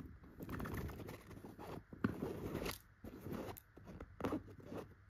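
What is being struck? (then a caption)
Tufted chenille fabric pillow. Very long pointed gold nails scratch and tap a soft, filled yellow pillow with tufted chenille dots. The result is a close, continuous scratchy rustle with a few sharper taps cutting through, most of the energy in the low and middle range.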